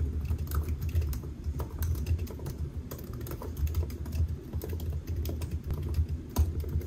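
Fingertips of both hands type on the black plastic keys of a solid silver aluminium laptop resting on a white desk. A fast, steady stream of soft key taps with a low, dull thump carries bright, short clicks that die away almost instantly. The typing runs continuously without pause.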